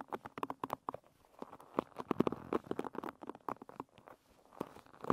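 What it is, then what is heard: Wooden pin hairbrush being scratched. Long red nails scratch and pluck the wooden pins of a wooden pin bristle hairbrush held edge-on with the bristles up. The result is a quick, uneven run of dry, short clicks and plucks with a woody midrange tone and soft scratchy rustling between them.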